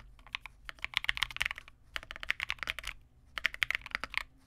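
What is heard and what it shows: Two-handed fingertip typing on a Vega65, a small 65% mechanical keyboard with re-lubed Cobalt switches, white plastic keycaps and a dark case. Quick, dry, bright clacks land in three bursts with brief pauses, centered around 2 kHz with almost no low-end thump. Each keystroke stops short with no ring.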